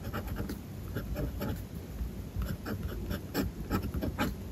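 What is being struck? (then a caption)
Fountain pen nib on a paper notebook page. A fountain pen nib writes across a white page of a spiral-bound notebook resting on a desk. Light, dry scratching strokes come in short bursts with brief pauses between them, each carrying a thin bright edge over a soft low rustle.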